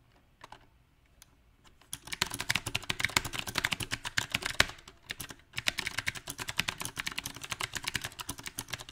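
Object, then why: Mechanical keyboard with plastic keycaps on a metal frame. Fingertips of both hands type on a backlit 68-key mechanical keyboard with round plastic typewriter-style keycaps on a silver metal frame. A few scattered taps in the first two seconds give way to a dense, uneven run of crisp, bright key clicks with very short decay.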